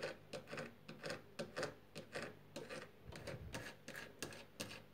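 Long fingernails tap rapidly on the solid, white-painted wooden moulding of a door frame, making 19 crisp, clicky knocks at an uneven rhythm. Each tap is short, with a brief hollow-sounding body and quick decay.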